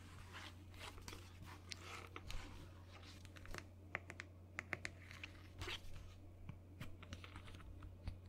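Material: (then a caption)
Plastic. Long nails tap and click on a hollow white plastic lotion bottle and its blue plastic cap, making quick, dry, bright taps that die away almost instantly. The taps come in uneven clusters over a steady low hum and faint crinkly rustling.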